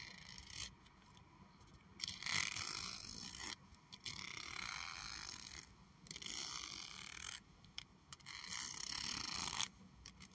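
Long acrylic nails scratch and strum along the fine teeth of a large, solid, light pink plastic comb. Bright, raspy scraping bursts come in repeated strokes separated by short pauses, with a dry, high-pitched clicking texture and no ring after each stroke.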